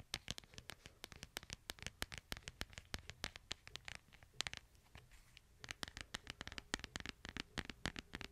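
Fingernails tap and scratch the hard plastic back and sides of a smartphone held upright in a light plastic case. About forty quick, dry, bright clicks sound with almost no ring, each centered near 3.4 kHz, over a faint scratchy rustle. The tapping eases into a softer, sparser stretch midway before picking up again.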